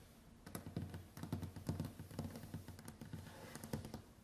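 Long white acrylic nails tap quickly across a large, solid, varnished wooden tabletop in a typing-like pattern. The result is a rapid run of dull, low knocks with crisp clicky edges, each dying away almost at once.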